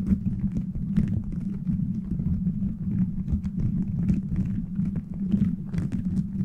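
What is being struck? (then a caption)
Plastic beaded microphone cover. Fingernails scratch over a beaded plastic gummy-bear cover fitted on a microphone. The result is a dense, continuous rumbling scrape centered low around 200 Hz, broken by quick clicky taps and brief bright ticks as the nails catch on the beads.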